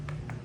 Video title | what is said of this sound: Pure Tile Adhesive for Tile Installation. Hindi nag dry pack para siguradong walang kapak. | pagka ganyan yung tunog, solid